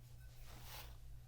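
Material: Nothing is struck.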